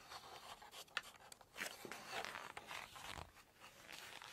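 Long nails scratch across a glossy photo page in a large, open Chinese cookbook, then flip the page over. The result is a quiet, bright, dry scratching and crinkling with small sharp ticks, mostly high in tone with almost no low end.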